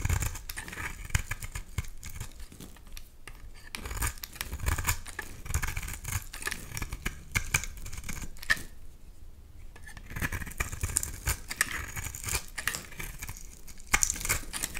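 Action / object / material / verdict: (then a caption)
scrape / bar of soap / soap / none. A utility knife blade carves ribbed shavings from the edge of a solid bar of pink soap held in one hand. Dense, rapid, crisp scraping and shaving sounds run throughout, with bright, high edges over soft low thumps. Brief quieter lulls fall near 3 and 9 seconds.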